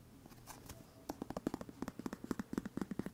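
A hand-sized dark plastic exfoliant bottle with a white plastic cap, held in one hand, is tapped rapidly with fingernails. About 18 quiet, dry, hollow clicks sound with a low-mid tone and no ring, starting soft and growing more distinct in a quick, uneven rhythm.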